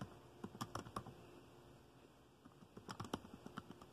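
Fingertips tap steadily on the keys of a dark plastic laptop keyboard while typing, giving about ten short, dry clicks. Four come in a quick burst early on and a faster run follows after a quiet pause. A faint steady hum sits underneath the taps.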